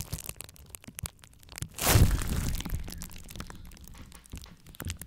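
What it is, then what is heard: Plastic bubble wrap. Clear plastic bubble wrap is squeezed and popped with the fingers, giving scattered sharp pops and crackles. Just before the two-second mark comes a louder, denser burst of crunching as the sheet is spread out, followed by softer crinkling and occasional pops.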